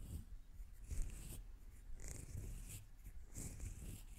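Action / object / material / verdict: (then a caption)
scrape / metal mesh microphone grille / metal mesh / none. Long teal nails scratch the metal mesh head of a microphone from the top and sides, making close, low rumbling scrapes with brief bright rasps on top. The scratching comes in uneven strokes with no clearly separate hits.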